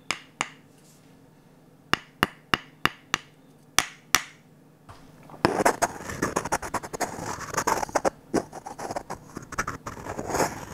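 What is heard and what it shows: An empty, glossy orange varnished wooden ladle is knocked with a wooden stick: nine short, dry, sharp taps with almost no ring. After a brief pause, the stick is scraped across the ladle in a dense, continuous, bright scratching run through the rest of the clip.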